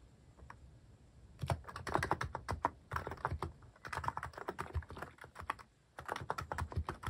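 Fingertips type rapidly on a cream plastic-case mechanical keyboard fitted with cat and paw-shaped plastic keycaps, pressing the keys again and again. After a near-silent first second and a half, dense runs of short, dry clacks follow, with a low thock under a mid-pitched click. The typing stops briefly near the six-second mark, then resumes.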